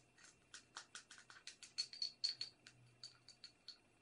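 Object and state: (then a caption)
Porcelain cup. A small, hollow, empty-looking white porcelain teacup with a silver patterned band is held in both hands and tapped and scratched with long red acrylic nails. About sixteen quick, bright clicks and light scratches ring briefly with a high, glassy tone, then fade almost at once in a quiet setting.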